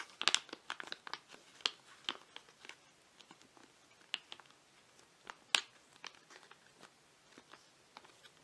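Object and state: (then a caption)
Foil face mask sachet. Fingertips tap and scratch a flat foil-laminate face mask sachet with a zebra design, held in both hands, making it crinkle. Sharp, bright crinkles and ticks come in irregular bursts with almost no low end, each dying away almost instantly. The quiet background stays nearly silent between them.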